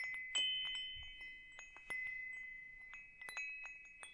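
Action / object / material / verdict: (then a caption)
tap / metal tube wind chime / metal / none. A hanging wind chime with hollow metal tubes is held by its hook while fingers tap the tubes. Bright, high metallic tones ring out around 3 kHz in quick, irregular strikes, each sustaining and overlapping the next before slowly fading.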